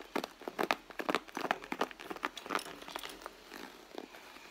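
Long blue fingernails on both hands scratch and tap the front of a medium red soft-leather handbag. The result is a quick, irregular run of dry, crinkly ticks and scrapes with no ring, bright and mostly in the mid-to-high range. The sounds are densest at the start and then thin into softer scratching.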